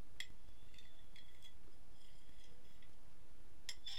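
A metal fork scratches and taps the surface and rim of an empty, medium-size white ceramic dinner plate held upright on a lap in one hand. Sharp, bright clinks and scrapes with a faint ringing tone near 3.3 kHz come in scattered bursts over a steady low background rumble, with a cluster of crisp taps at the end.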